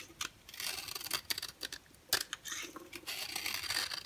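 A yellow oval bar of dry solid soap, held in the hand, is carved and scraped with a box cutter blade. Quiet, bright, crisp shaving and scratching strokes come in short bursts with tiny sharp clicks, separated by brief pauses, and there is almost no low end.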